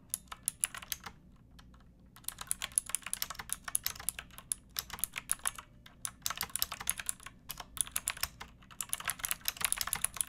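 Fingertips with long painted nails type on a pink backlit plastic mechanical keyboard with round typewriter-style keycaps and a hollow case. Bright, sharp clicks come in quick, uneven bursts, with a brief pause near the start before the typing picks up again and runs steadily to the end.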